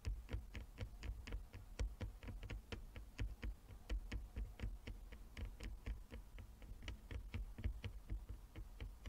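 Long fingernails of both hands tap across a flat wooden chess board with inlaid squares. The result is a quiet, rapid, uneven stream of short, dry clicks with bright tips over a steady low rumble.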